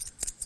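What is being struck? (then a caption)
Silver half dollar coins. Two big old half dollar coins are clicked together during a close-up coin transposition magic trick, giving a few short, bright metallic clinks with a quick, high ring. They sound slightly different from quarters because they are bigger coins.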